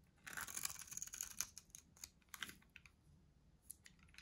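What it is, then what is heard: Dry soap bar shaved with a blade. A solid white, dry bar of soap held in the hand is shaved with a metal box-cutter blade, carving and scraping the bar. A dense run of bright, crunchy scraping comes first, then sparser short scrapes that fade, with little low end.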